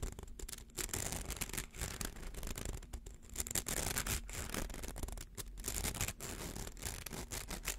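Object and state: Plastic coil toy being scratched.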